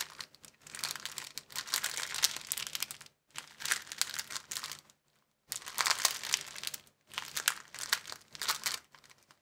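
A clear plastic bag rolled into a tube is squeezed and twisted with the fingers, producing dense, bright crinkling in several bursts separated by brief silences.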